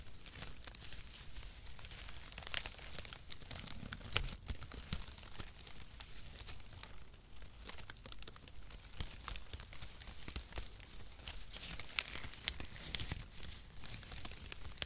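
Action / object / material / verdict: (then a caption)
scrape / cardboard packaging shreds / cardboard / none. A wide band of brown mesh-cut cardboard packaging shreds is held taut between both hands, stretched, then bunched and rubbed with the fingers. The result is a steady stream of dry crinkling and scratchy tearing textures with many short, bright crackles over a low rumble, and no speech.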